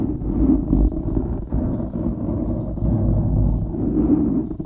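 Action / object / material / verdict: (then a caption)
scrape / foam microphone windscreen / foam / none. Fingertips and short nails of both hands scratch a soft, porous black foam windscreen on a microphone. A continuous, muffled rustling and scratching sound is heard, dense and low with almost nothing bright, staying fairly steady in loudness throughout.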